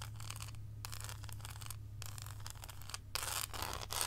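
Long acrylic nails tap and scratch the embossed segments of a large, solid, thick milk chocolate slab held and tilted in the hands. Bursts of bright, crisp scratching alternate with brief pauses over a steady low hum. The scratching grows louder and harsher near the end.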